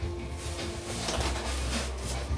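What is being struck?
Nothing is struck.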